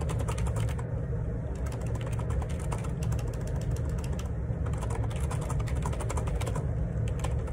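Fingertips type rapidly on the plastic keycaps of a black Perixx Periboard 612 wireless Bluetooth dual ergonomic split keyboard resting on a grey desk. A steady, continuous stream of light clicks and taps plays over a dominant low rumble, with bright click transients above.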